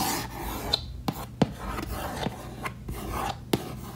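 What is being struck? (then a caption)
Wooden case lid. Fingernails scratch back and forth in small areas on a hollow, reddish wood-grain case lid with latches, making a dry rasping sound. Six sharp clicks stand out from the steady scratching, each fading almost at once.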